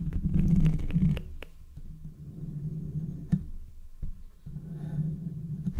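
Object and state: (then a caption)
Metal microphone grille being scratched. Fingertips and nails from both hands scratch and rub the hollow mesh metal grille of a handheld condenser microphone held close up. The result is a deep, muffled rumbling with a low hum, broken by sharp scratchy ticks that are loudest in the first second and then settle into softer, uneven rubbing.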